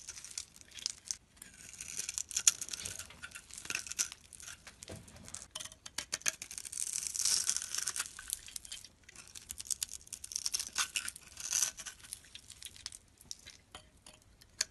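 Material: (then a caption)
Soap. A metal box-cutter blade scrapes shavings off a solid dark bar of soap held in the palm, its surface scored in a grid, the shavings falling onto a pile. The sound is a run of crisp, dry, high-pitched scraping and crinkling strokes with short bursts and quiet gaps between them, almost no low end.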